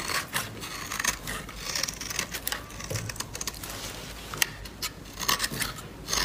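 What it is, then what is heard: Dry bar soap being scraped. A utility-knife blade scrapes and carves thin flakes off the surface of a solid, palm-sized pink bar of dry soap held in the hand, while a white soap bar sits untouched on the table. Crisp, dry, bright scratching and rasping strokes repeat steadily, with short sharper cuts standing out and little low-end weight.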